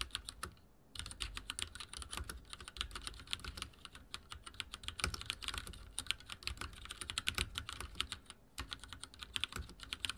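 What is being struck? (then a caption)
Mechanical keyboard with plastic keycaps. Fingertips type steadily on a backlit mechanical keyboard with dark plastic keycaps, producing a rapid stream of sharp, bright clicks and clacks. The fast taps run together, pausing briefly near the start and again near the end, with a light low thud under each keystroke.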